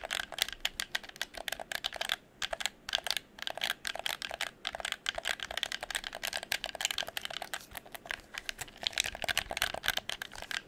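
Fingertips rapidly click the buttons and tap the plastic shell of a hollow red plastic gamepad held near the microphone. A dense, steady stream of short, dry, bright clicks and taps with almost no low end, broken by a few brief pauses.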